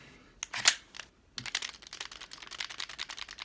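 A metal KWC Desert Eagle airsoft pistol is shaken by hand with its magazine inserted, producing a clearly audible rattle. A short burst of sharp, bright clicks is followed by a brief pause, then a steady series of quick, light clacks.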